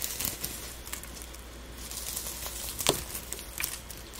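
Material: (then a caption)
Dried petals. Gloved hands crush and rub dried rose petals and buds between the palms, producing dry, bright crinkling and crackling. Light rustling continues throughout, with a few sharper crunches and the loudest snap near the end, over a faint steady low hum.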